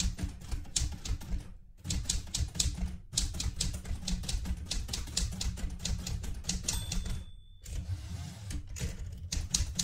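Fingertips with painted nails press the round keys of a light blue Smith-Corona Galaxie Twelve portable manual typewriter with a metal body, loaded with a sheet of paper and resting on a cloth-covered table. Continuous rapid clacks of the typebars striking carry bright, sharp snaps over a heavy low thump, broken by short pauses. A brief high ringing tone sounds just before the last pause.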